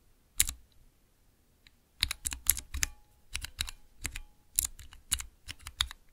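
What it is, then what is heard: Clear plastic mechanical keypad. Fingertips press the keys of a small transparent acrylic 9-key keypad fitted with Cherry MX switches, typing rapidly. Bright, crisp clacks with a soft low thump underneath decay almost instantly. After a couple of isolated presses and a short pause, they come in a quick, uneven stream.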